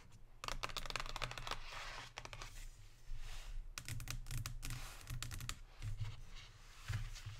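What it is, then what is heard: Cardboard chocolate box. Long pink nails tap and scratch a Lindt cardboard chocolate box, first on the front and then on the back with its nutrition label. Quick, dry clicking taps come in bursts between bright, papery scratching sweeps, over a steady low hum.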